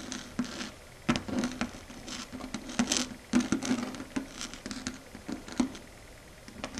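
Long red acrylic stiletto nails tap and click their tips against a large, solid, flat dark grey matte chalkboard surface. An irregular patter of short, dry clicks with bright edges and almost no ring follows, over a faint low-mid hum that swells with the louder taps.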